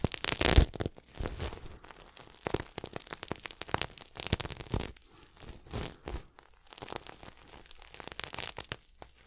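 Fingertips scratch and brush the sequins of a red and silver sequin throw pillow held close to the mic. The result is a dense run of crackly, rustling scrapes that turn bright and loud in the first second and then settle into quieter, uneven scratching bursts.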